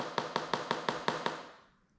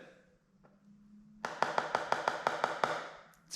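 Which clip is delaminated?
The first.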